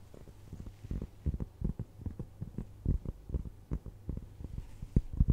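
A round, flat, solid cork trivet is held in front of a microphone and scratched and tapped with long nails. Dull, bass-heavy thumps and soft scratching come in an uneven run over a steady low hum, with almost no high end.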